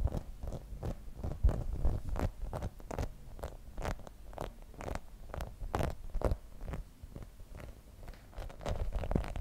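Long nails scratch and tap the spikes of a grey rubber spiky massage ball held in both hands. The result is a quick, uneven patter of short, dry taps with brief scratchy swipes, mostly low and soft with thin bright clicks on top.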